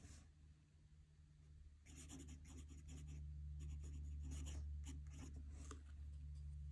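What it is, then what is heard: Paper notebook sheet under a pen nib. A metal fountain pen nib scratches across a squared paper notebook page lying flat on a desk as a hand writes. After a quiet start, a rapid series of bright, scratchy pen strokes begins, over a steady low hum.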